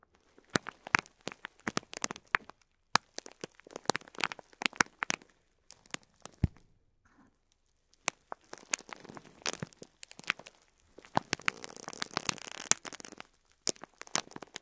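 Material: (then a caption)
Plastic. Fingertips squeeze and crinkle a flat clear plastic bag packed with rows of medium cream plastic faux pearls lying on cloth. Dense, bright plastic crinkling and sharp crackles fill the clip, pausing briefly near the middle before a thicker, rustling burst of crinkles toward the end.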